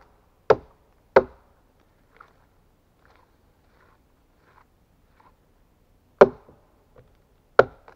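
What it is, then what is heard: Pine log chopped with an axe. A steel axe held in a gloved hand chops into the top and side of a large solid pine log. Four sharp, dry thwacks land in two pairs separated by a long pause. Each hit is short and dies away almost at once, with faint small knocks and rustles in the quiet gaps.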